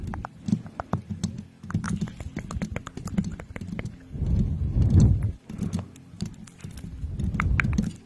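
Long painted nails on both hands scratch and tap around the hollow, domed metal mesh grille of a pink USB condenser microphone. Quick clicky taps land in an uneven, clip-clop-like patter over a deep, boomy low rumble. Louder scratching swells rise in the middle and near the end.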